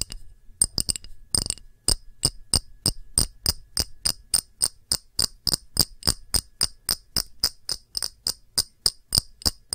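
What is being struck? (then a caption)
Small clear glass dish. Long nails tap an empty small round clear glass dish with a textured rim in a rapid, fairly steady rhythm, about thirty-three quick taps after a looser start. Each tap is a bright, high, glassy click that dies away almost at once, with a faint low thud underneath.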